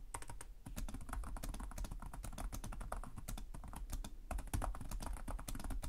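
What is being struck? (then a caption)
Plastic chiclet laptop keyboard. Fingertips with short nails type continuously on the plastic chiclet keyboard of a black laptop resting on a desk. A rapid, unbroken stream of crisp key taps clicks over a low, dull thump from the keys bottoming out.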